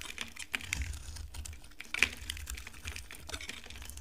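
A utility knife blade scrapes a solid, dry pink oval bar of soap, peeling off thin flakes. The result is a steady run of quick, crisp, dry scratching and crackling with a bright edge. Sharper snaps cut through the texture, over a faint low rumble.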